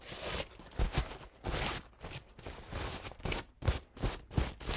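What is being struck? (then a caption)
Paper towel. A crumpled paper towel stained with pink, green and blue paint is pulled open and crinkled with fingertips close to the camera. Soft, dry crinkling and rustling comes in irregular bursts, with a low, papery thump under bright, hissy crackle.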